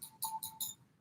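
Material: Fossil bone.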